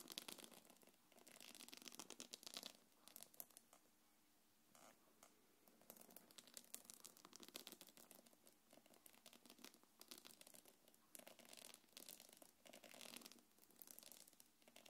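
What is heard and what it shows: Long nails scratch the front of a small, hollow, quilted black leather-look belt bag. Dense, bright, crackly scratching and rubbing runs in bursts through the clip, with brief quieter pauses, and the sound is thin with almost no low end.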